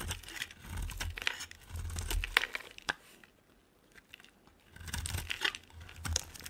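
A solid pink bar of soap held in the hand is shaved with a utility knife blade into long curls, giving crisp, crackly scraping strokes with bright, papery crunches and a low rumble underneath. The shaving comes in two bursts separated by a quiet pause in the middle.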